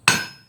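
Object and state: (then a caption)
Hardened steel anvil plate, hard with high rebound. A hammer dropped under gravity onto a hardened steel plate used as an anvil strikes once with a sharp, bright metallic ring that decays over about half a second. The hammer jumps back up easily, showing the hard surface's high rebound.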